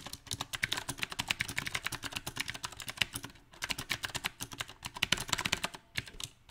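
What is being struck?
Mechanical keyboard with round plastic keycaps on a metal frame.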